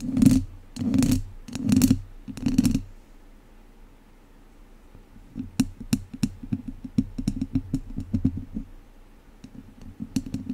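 Two wooden chopsticks scratch a hollow metal mesh microphone grille, giving four long, dull scraping rubs in the first three seconds. After a quiet pause, a quicker string of short scratches and sharp clicks follows, some with a thin, bright edge, all close and low-pitched in body.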